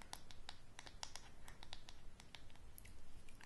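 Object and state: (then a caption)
Wooden hairbrush handle tapped and scratched with nails. Long grey nails tap and scratch the solid wooden handle and back of a hairbrush held close to the microphone. Quick, dry, clicky taps sound over a faint low rumble, each one dying away almost at once.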